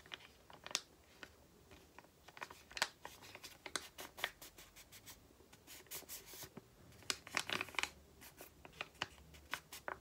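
A small, flat, white and green printed paper or card sachet, held in both hands, is tapped and handled with long painted nails. Quiet, crisp, bright clicks and crinkly scratches come in irregular bursts, each dying away almost instantly with very little low end.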